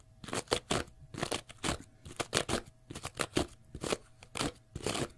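Fingernails scratch the face and edge of a small pale green porous cellulose sponge block in quick, separate bursts. Each stroke gives a dry, crunchy rasp that spreads from low to bright high tones. About fourteen distinct scratches sound over five seconds, each stopping short with no ring.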